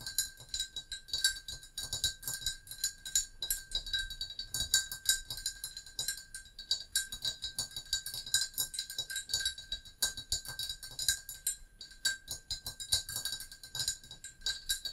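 Long nails tap rapidly on the sides of a hollow, glazed brown ceramic mug with a handle resting on a book. The result is a dense stream of quick, bright clicks and clinks, each fading fast. A faint steady ring sits underneath the taps.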